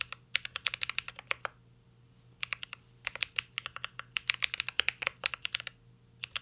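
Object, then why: Mechanical keyboard with plastic keycaps and metal case. A mint-green Cyberboard R3 mechanical keyboard with plastic keycaps and an aluminum case is typed on continuously by fingertips. The result is bursts of crisp, bright clicking keystrokes with very short decay, separated by brief pauses near 1.5 to 2.4 seconds and again near 5.7 to 6.2 seconds.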